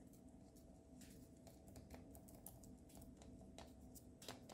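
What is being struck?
Chocolate egg in aluminium foil wrapper.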